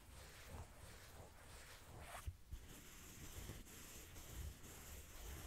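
Fingernails slowly scratch along the ribbed fabric of a small cream corduroy backpack held upright. The result is a soft, continuous raspy scratching with bright high hiss over a low, rumbling background.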